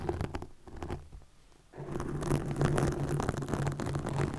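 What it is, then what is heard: Plastic mesh net scratched close to a microphone. Long nails scratch and flutter over green plastic netting stretched across a microphone, making dense rapid scraping and pattering with a low hum near 150 Hz. It is quieter in the first half and swells into louder, busier scratching after about 1.8 seconds.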